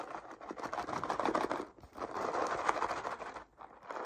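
Long painted nails tap and scratch a colorful, hollow cardboard cereal box that appears closed, held upright over a table. The result is a quiet, dense run of dry, papery taps and scrapes, mostly in the midrange with little low end, briefly thinning out just before the two-second mark and again near three and a half seconds.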